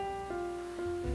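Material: Nothing is struck.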